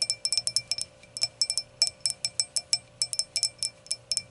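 Long nail tips tap and click on the solid round glass foot of an empty hurricane glass, making about 22 quick, bright glassy clinks in an uneven rhythm. Each tap rings high and dies away almost at once, over a faint steady hum.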